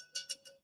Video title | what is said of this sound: A Beginner's Guide to Success | it just sounds tinny and thick and sounds like it's solid all the way through. You never hear that with the lesser clays.